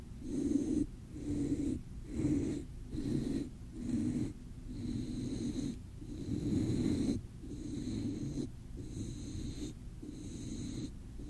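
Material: Nothing is struck.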